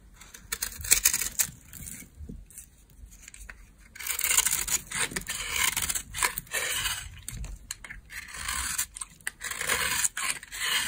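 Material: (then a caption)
Soap. A solid, pale, dry laundry soap bar held in the hand is scraped and shaved with a metal blade into fine crumbs and flakes. The sound is a bright, dry, crackly rasp of repeated scraping strokes, softer for the first few seconds and then louder and denser.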